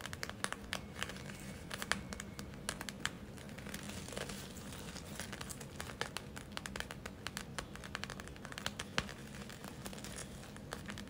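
A gel-filled plastic eye mask with glitter and a white rim is tapped and scratched by long nails. The result is a steady stream of quick, dry clicks and crinkly scratching over a low hum, with brief bright transients and no ringing.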